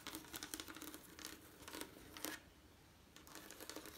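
Long nails scratch and tap the textured colored glass panes of a leaded stained glass window set in lead came. Quiet, bright clicks and scratchy rasps come in quick clusters, pause briefly after about two and a half seconds, then resume.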